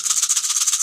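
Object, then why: Rawhide rattle with corn kernels. A turtle-shaped rawhide corn rattle filled with loose dried corn kernels is shaken steadily. It makes a bright, dry, hissing rattle that pulses quickly in rapid strokes and sounds a bit like a rattlesnake.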